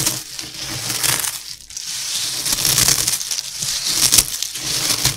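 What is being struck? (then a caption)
Puffed cereal pieces. Both hands press and rub their fingers through a heap of dry, crispy, broken puffed cereal pillow pieces, crushing and rubbing them. This produces a dense, bright crackling and crunching with almost no low end, easing briefly around the middle before building again.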